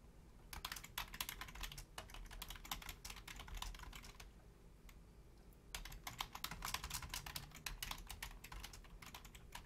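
Long fingernails and fingertips of both hands rapidly tap the keys of a full-size black plastic Logitech membrane keyboard with a hollow housing. Quick, bright, clicky taps come in dense bursts over a low hollow rumble, with a short lull around the middle before the fast typing resumes.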